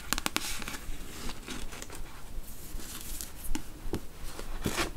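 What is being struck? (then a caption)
Paperback book, card cover and paper pages. Long nails tap the cover of a thick paperback novel, The Beach, held open, then fan and riffle through its paper pages. Quick, sharp clicks at the start give way to soft, papery rustling with a few bright, crisp flicks toward the end.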